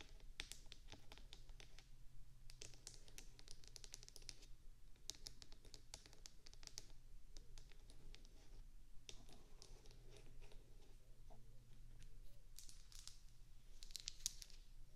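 Long acrylic nails tap and scratch across the rounded wax bumps of a small, solid white wax bubble-cube candle, first resting on the mic and then picked up. Quick, dry, bright clicks and scratchy flutters come in dense bursts with short pauses between them, and they die away almost instantly. A faint, steady low hum sits underneath throughout.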